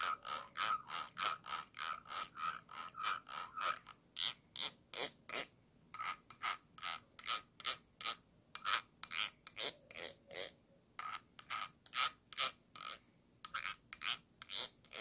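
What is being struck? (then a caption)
Glass jar. A thin dark stick scratches and rubs the ridged glass base of a small, round, clear glass jar with a yellow lid, held upside down and hollow. It makes a steady run of quick, dry, ratchet-like clicking strokes, bright and crisp, with no low end and no ring after each stroke. A few short pauses break the rhythm.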